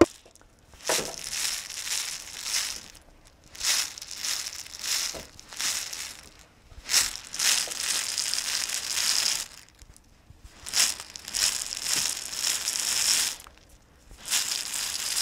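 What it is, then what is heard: Plastic jar of sprinkles. A clear plastic jar with a white screw lid, full of colorful sprinkles, is held in both hands and shaken and tilted so the sprinkles rattle inside. The result is bright, hissy, crackling rattles in several bursts separated by short quiet pauses.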